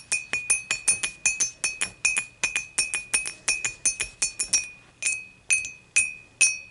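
Long matte nails tap the sides of an empty, clear, dimpled glass beer mug standing upright, using both hands. About thirty quick, bright clinks ring at a steady glassy tone near 2.5 kHz, each fading within a fraction of a second. The taps come fast and uneven at first, then slow to a few spaced strikes at the end.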